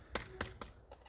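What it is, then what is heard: Loose, hollow-sounding floor tiles. Five knocks on ceramic floor tiles laid over insulation, in an abandoned hotel built over a cave where many tiles have already broken off, tapped to test them. Each knock is a short, dull, hollow tap that dies away quickly. The tiles are loose and hollow.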